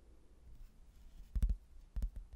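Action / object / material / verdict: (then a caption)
tap / cork-backed hardboard placemat / hardboard / none. A thin, solid, cork-backed laminated hardboard placemat with a manor house print is held in both hands and tapped sparsely with fingertips on its glossy surface. After a quiet stretch, two quick pairs of soft, dull, low knocks sound with almost no ring.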